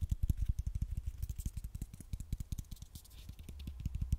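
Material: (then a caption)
Aluminium. A medium silver-beige aluminium aerosol spray can with a white plastic cap, hollow, is held in one hand and scratched and tapped along its body with long nails. The result is a fast, uneven run of short, dull, low taps that die away almost instantly, with faint bright scratching in between.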